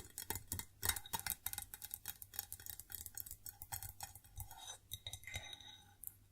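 A white ceramic plate from IKEA's cheapest tableware set is tapped repeatedly with quick, bright clinking taps. The taps come in rapid, uneven runs, each ringing only briefly before the next one.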